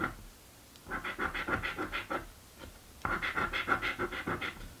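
A coin scratches the latex coating off a blue paper scratch lottery ticket held flat. Two bursts of quick, rhythmic, rasping strokes with a bright scratchy edge are separated by a short pause.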